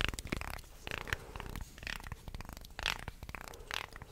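A wooden segmented shark toy is held vertically while nails and fingertips scratch down its slotted segments and flex the body. The result is rapid dry clicking and ratcheting rasps with a low, rumbling undertone, coming in several brighter scraping bursts.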